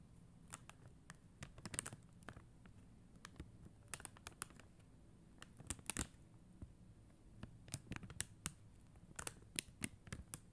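Long mint-green nails tap across a blue and clear acrylic rhinestone sticker sheet, producing a scattered series of quiet, sharp, dry clicks that are bright and die away instantly. The taps come irregularly, sometimes in quick clusters, over a soft, steady low background.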